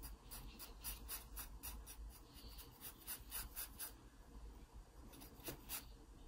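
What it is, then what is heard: Pencil strokes on sketchbook paper. A wooden pencil tip scratches repeated strokes near the stem of a drawing on an open paper sketchbook page. Quick, bright, raspy strokes come in a steady rhythm, with a short pause before a final few, over a faint low hum.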